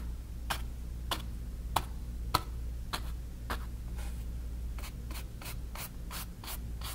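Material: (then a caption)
Cotton canvas. A flat bristle brush is scrubbed and rubbed back and forth through wet paint on a small stretched cotton canvas on a wooden frame. Each stroke makes a short, dry, bright scratchy swipe, repeating at a loose, uneven pace over a steady low hum. The strokes come quicker and closer together toward the end.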